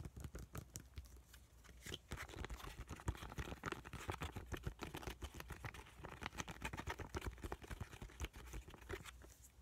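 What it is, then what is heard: Foil sheet-mask sachet. A small, flat, white sachet of laminated plastic and foil, filled with a soaked sheet mask, is held in both hands and tapped and squished with the fingertips. The result is a dense, steady stream of quick, soft taps and crinkly, wet-sounding squishes. A low rumble runs underneath, and brighter crackles sit on top.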